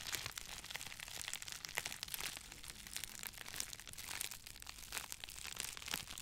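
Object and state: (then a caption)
Crinkled plastic bubble wrap. Two hand-sized, hollow, cone-shaped bundles of clear plastic bubble wrap, one held in each hand near the microphone, are squeezed and crinkled by the fingers. A steady, quiet stream of bright, crackly crinkling fills the clip, with sharper snaps poking out now and then and very little low end.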